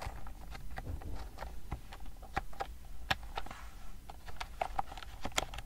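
Long nails type and tap on the round plastic keys of a pastel wireless keyboard, first held flat and then held up. The result is an irregular run of short, crisp clicks with a bright edge, some noticeably louder, over a low, soft rumble.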